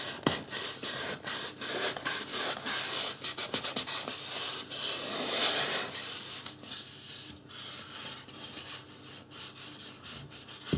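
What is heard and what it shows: Fingertips rub and scratch the scalp of a life-size white polystyrene foam mannequin head, which is turned during the stretch. The result is a quick, irregular run of dry, bright, hissy scratches and rubs with little low end, easing to quieter, softer strokes in the second half.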